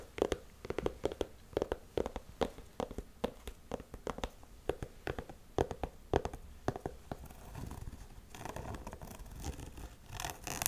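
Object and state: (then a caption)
Canvas sneaker scratched with nails. Long nails scratch the white textured rubber sole edge and the canvas of a black Converse high-top canvas sneaker. Short, sharp scratching strokes repeat for about seven seconds, then give way to denser, continuous scraping that grows louder toward the end.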